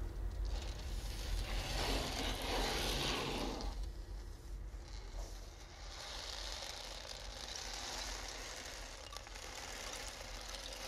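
A large, round, flat wooden ocean drum with a slotted top and loose beads inside its hollow body is held in both hands, tilted and turned so the beads roll and shake while fingertips brush the top. A loud, broad rushing hiss swells over the first four seconds, dips briefly, then settles into a steadier, brighter wash over a low rumble.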